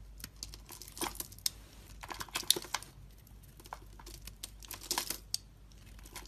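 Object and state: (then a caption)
Soap bar being carved. A metal utility blade carves and scrapes shavings off a solid, star-shaped orange soap bar held in the hand. The result is a continuous run of dry, bright crinkling scrapes and short clicky cuts, with sharper peaks at about 1.5, 2.5 and 5.3 seconds, and no ringing after each stroke.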